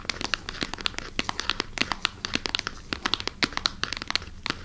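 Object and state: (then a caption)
Plastic packaging bag. Long nails scratch and crinkle the surface of a clear plastic bag holding a wooden knobbed massager, held beside the mic. Many quick, sharp crackles and rustles come through, bright and high with very little low end. Each crinkle stops almost instantly.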